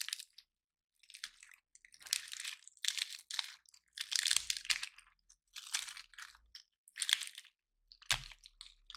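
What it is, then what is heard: Dry pine cone crunched by hand. A round, dry, gold-painted pine cone is held in both hands while fingertips and nails press, rub and break its woody scales. Bright, dry crunching and crackling comes in short bursts separated by brief silences, with almost no low end. Each snap stops at once with no ring.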